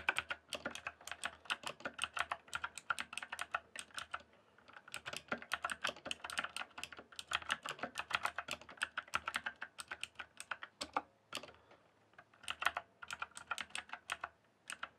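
Fingertips type continuously on a rainbow-backlit mechanical keyboard with plastic keycaps, producing rapid, crisp, bright clicks with a midrange body. Each clack dies out almost instantly, and the bursts of typing are broken by a few brief pauses.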